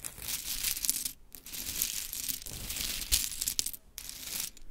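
Long chrome stiletto nails dig into, rake and shuffle a heap of small pink wooden clothespins resting on a glittery cloth. The pins clatter in a dense, bright, crisp rattle, with short quiet gaps where the nails pause before raking through the pile again.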